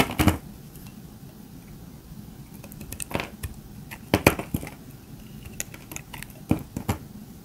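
A metal utility-knife blade scrapes and shaves the surface of a hand-sized, solid pink dry soap bar held in the fingers, flaking off brittle, crunchy chips. Sharp, bright, crackly scraping bursts come in irregular clusters, with the loudest near the start, around the middle and toward the end, over a quiet low background.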